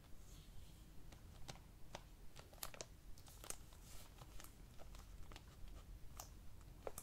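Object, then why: Plastic DVD case. Several fingertips tap on the front and back surfaces of a clear, hollow plastic DVD keep case for the film "Frances Ha," held in both hands. About fifteen quiet, short, bright clicking taps fall at an uneven pace over a low, steady rumble.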